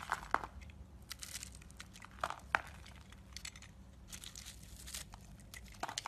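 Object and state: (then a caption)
Bar soap being carved with a blade. A yellow utility knife blade carves and scrapes a solid marbled black and white bar of soap held in the hand, shaving off crumbly flakes. Soft, dry scraping and crinkling runs throughout, broken by a few sharp, crisp cuts near the start and middle. Bright crumbling bursts follow over a quiet, low background hum.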